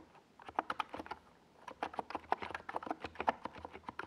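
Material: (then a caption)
Plastic. Fingertips of both hands rapidly type on a NiZ Plum Atom 68, a compact 68-key mechanical keyboard with a hollow white plastic case and purple and yellow Domikey Gas Attack SA plastic keycaps, resting on a desk pad. Quick, dry, clacky taps sit in the mid range around 900 Hz with little bass and no ring. The typing runs in bursts with a brief pause early on.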